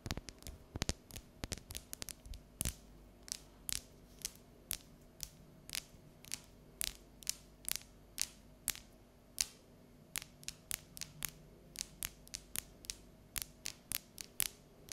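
Long natural nails tap and scratch the ridged surface of an unwrapped, solid bar of dark chocolate held up above a counter. The result is a steady run of short, crisp, bright clicks with almost no ring, spaced irregularly over a faint low hum.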